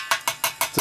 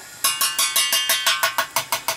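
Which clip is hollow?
The second.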